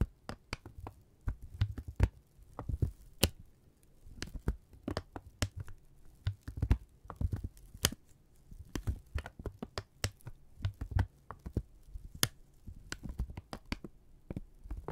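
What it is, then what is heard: Kraft paper being crumpled. A thin, flat strip of brown kraft paper about a hand-width long is held between both hands in front of two mics and crumpled, stretched and rubbed with fingertips. Quick, dry crackles and sharp snaps come in irregular bursts, with soft low thumps underneath and brief bright crinkles between them, continuing throughout the clip.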